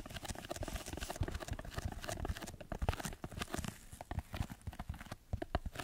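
Fingertips scratch a red layered foam sheet held above and in front of the microphone. The result is a dense run of soft, rapid scratches and muffled thuds, heavy in the low end with short bright crackles. The scratching dips briefly near the four-second mark before picking back up.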